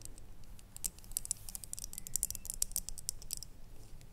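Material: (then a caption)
Ceramic. Long nails tap and scratch the outside of a small, hollow, red ribbed ceramic jar with a lid, standing on a wooden table. Quick, irregular, crisp high-pitched clicks patter over a faint low rumble, each tap dying away almost at once.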